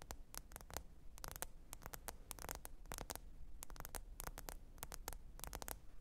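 Long pointed nails tap the glass screen of a small, thin, solid black smartphone lying flat and screen up on faux fur. Quick, sharp, bright clicks come in irregular bursts and clusters, each dying away almost instantly, over a quiet, steady low hum.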